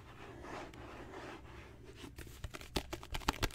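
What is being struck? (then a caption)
Leather-covered book. Fingertips and nails tap on a solid, dark brown genuine leather book cover. A soft, low, brushing rustle gives way to a series of short, dry taps with bright clicky edges that die away almost instantly.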